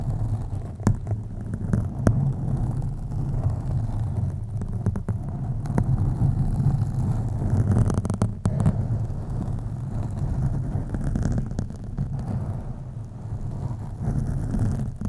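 Long acrylic nails of both hands slowly scratch a soft, porous black foam windscreen on a USB microphone. The result is a continuous deep, muffled rumbling scrape, concentrated in the low range, with scattered brief crackles that flick up toward the bright end.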